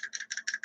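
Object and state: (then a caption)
Loose idler shaft with end play. A metal idler shaft assembled into a Drag Race Concepts mid-motor RC transmission case for a TARP Street Eliminator is shaken, producing five quick bursts of bright, dry metallic rattling centered near 1.7 kHz with almost no ring. The rattle reveals that the shaft is loose with excessive end play and needs shimming to take up the play.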